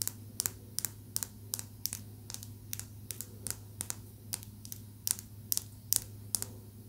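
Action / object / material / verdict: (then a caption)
tap / small green calcite tumbled stone tapped with fingernails / calcite / none. A small, smooth, solid green calcite tumbled stone is held in the fingers and tapped rapidly with long nails. Each tap is a short, bright, dry click with almost no ring, coming in quick, slightly uneven runs over a quiet steady low hum.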